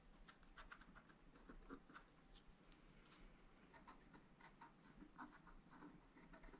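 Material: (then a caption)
Coated paper. A wooden stylus scratches fine strokes across a flat sheet of black-coated scratch-art paper in a spiral pad, revealing colour underneath. Quiet, dry scratching comes in short, uneven strokes with bright, hissy edges over a soft low background.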